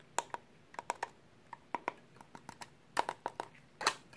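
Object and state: Sheet-metal hard drive caddy.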